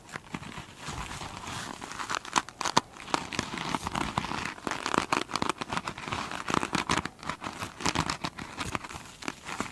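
Long, pointed chrome nails on both hands scratch the glitter-beaded top of a single soft, solid foam sponge. The scratching makes a dense, continuous crinkling and crackling texture centered around 1 kHz with bright hiss above. Sharper scraping bursts rise out of it throughout.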